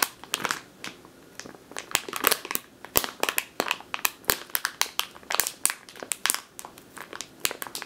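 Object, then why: Plastic bag filled with flour. Long teal nails crinkle and squeeze a medium clear plastic bag with a purple label, full of flour or grain. There's a dense run of sharp, bright crackles and crunchy snaps, with quick irregular bursts and almost no low end.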